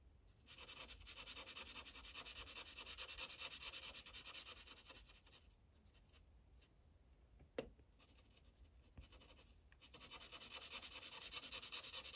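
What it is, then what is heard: Felt-tip marker coloring on paper. A blue Sharpie felt tip rubs across a thin paper coloring page on a clipboard in quick coloring strokes, making a steady, bright, scratchy hiss of rapid back-and-forth strokes. Midway the strokes fade to a quieter lull broken by one sharp tap, then the brisk coloring picks back up.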